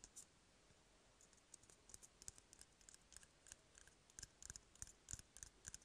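An empty, hollow brown cardboard toilet paper roll is held in the hand while fingertips and nails tap and scratch along its surface. Quiet, dry, bright clicks and light scratches come in an irregular, fairly quick patter. Each sound dies away almost at once.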